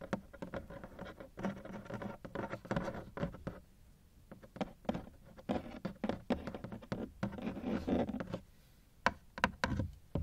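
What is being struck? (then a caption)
Hard plastic suitcase shell. Fingertips knock and patter on the ribbed sides of a large, black, hollow hard-shell plastic suitcase that is partly unzipped, heard from inside. Rapid, dull, hollow taps and scratchy bursts come in dense flurries with brief quiet gaps, carrying mostly low and mid tones with little brightness. The clip closes with a few sharper, isolated knocks.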